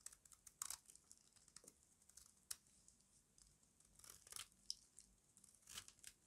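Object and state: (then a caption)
Dry, crunchy soap bar. A small metal blade shaves crunchy flakes off a solid rectangular bar of dry white soap held in the hand. The clip is a quick run of crisp, bright scraping and crackling bursts, with a few louder crunches standing out above a faint background.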